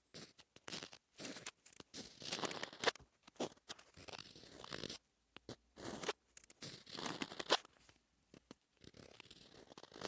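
A pointed wooden stylus scratches Korean letters through the black coating of a flat sheet of rainbow scratch-art paper, revealing the colors beneath. Quiet, dry, bright scratching strokes come in irregular bursts separated by short silences, with no ring after each stroke.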